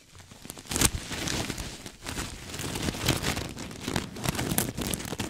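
Fingertips and nails scratch a soft, stuffed cream sequin throw pillow held beside the mic. The result is dense, crinkling, rain-like rustling and clicking with bright, sharp ticks over a soft low rumble, rising and falling in busy waves throughout.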